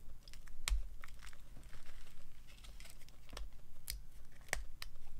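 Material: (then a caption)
Soap. A small metal knife carves and scrapes a hand-sized, solid, dry white bar of soap held in fingers with long gold-painted nails over a bed of colored soap shavings, its cutting and scraping strokes shaving off slices. Dry, crisp, crinkly scraping strokes and sharp, bright clicks sound over a steady low hum.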